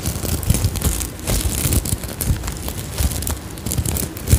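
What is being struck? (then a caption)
Sequin-covered fabric pouch. Long nails scratch and flip the sequins on an iridescent sequin-covered fabric pouch held close to the mic. The result is a dense, crackling rustle with soft bright shimmer over a heavy low rumble from handling. Bursts of scraping rise and fall unevenly throughout.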